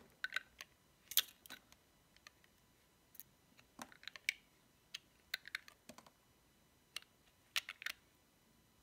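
A small, dry, cream-white bar of soap with a paw decoration is held in the fingertips while its edges are shaved off with a metal utility knife blade. Crisp, bright cutting clicks arrive in irregular bursts, with many short snaps that die away almost instantly over a quiet background.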